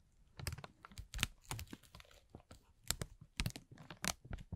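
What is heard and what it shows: A thin, clear, transparent plastic film bag is pulled, rubbed and crinkled with the fingertips of both hands. The result is a quiet series of irregular, crisp crackles and crinkles, with bright high rustle over soft low thumps, each burst dying away almost instantly.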